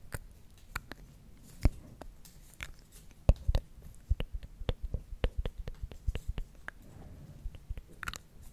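Several small wooden spring clothespins with metal springs, clipped onto the fingers of both hands, are clacked and knocked together. The result is an irregular series of short, dry, sharp clicks and clacks that die away almost instantly over a faint low hum. The clicks grow busier and denser toward the middle of the clip.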